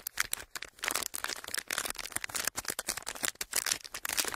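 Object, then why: Thin plastic wrapper. A flattened clear plastic wrapper is pressed and rubbed with fingertips, then crumpled in the hand. It gives dense, bright crinkling and crackling in rapid, uneven bursts, with almost no low end.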